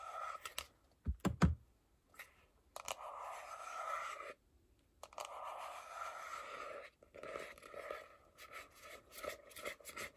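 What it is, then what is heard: Cardboard phone box. Fingertips and long nails tap and scratch the glossy front and edges of a small, closed, hollow white printed paperboard iPhone box held in both hands. A few sharp, low, hollow knocks come first, then longer stretches of dry, scratchy rubbing with brief gaps of near silence, and finally quicker clusters of taps and scrapes.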